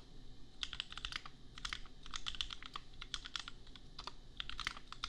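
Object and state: Plastic mechanical keyboard.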